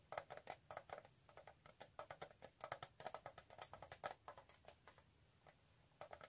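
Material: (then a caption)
Metal. A flat, hollow, hand-sized rectangular metal tin with a gold rim and embossed lid is held upright in both hands and tapped on the lid with long nails. Quick, light, clicky taps come in uneven bursts, each with a short hollow metallic ring in the midrange that dies away almost at once. The tapping briefly pauses around the five-second mark before resuming.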